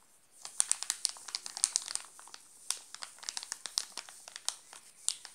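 Fingers grip and crinkle the glossy plastic wrapper of a sealed Alpino chocolate bar, partly covered by the hand. A dense run of sharp, bright crackles and snaps fills the clip, with quick transients, almost no low end and no ringing.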